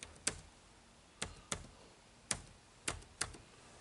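Fingertips type on the dark plastic keys of an HP laptop keyboard, producing six short, sharp, bright clicks at uneven intervals. Each click decays almost instantly into a quiet background.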